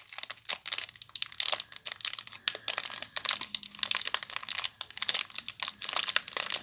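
Long nails and fingertips crinkle and scratch the clear plastic wrapper on a small Disney h2o+ soap bar. Bright, dense crinkling comes in quick, dry bursts with no ring afterward, steady throughout the clip.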